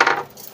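An artificial pigeon egg, used to make a pigeon brood, is dropped to test it and lands with three quick, bright clicks of a bounce that fade within about a quarter second. It stays whole and sturdy instead of breaking as a real egg would, showing it is fake.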